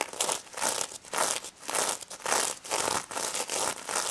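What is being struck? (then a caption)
Sequin-covered plush toy. Long red nails scratch and flip the sequins on a small pink sequin-covered stuffed plush pig held in the hands. The result is a bright, crinkly, rustling scratch that swells and fades in uneven repeated bursts, with almost no low end.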